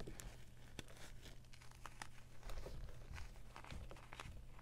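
Bare hands scoop, squeeze and crumble a heap of dry, pale green-tinted gym chalk chunks (magnesium carbonate) and powder resting on a board. Soft, quiet crunching and crinkling crackles come in short, quick bursts over a steady low hum. Sharper crumbles stand out briefly as the solid pieces break apart.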